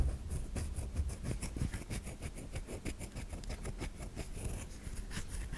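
Long nails scrape across the curved top of a white solid bar of soap held in the palm, shedding soap flakes onto the hand. Rapid, uneven scratchy strokes crackle with bright, dry texture over a steady low rumble, without pause throughout.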